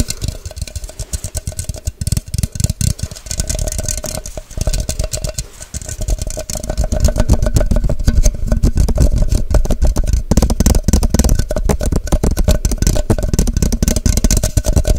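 Long nails tap fast and hard on a tall, hollow, empty clear plastic measuring cup with a white cap, held upside down above the mic. The result is a rapid, uneven stream of short, hollow, bass-heavy knocks that grows louder and denser partway through.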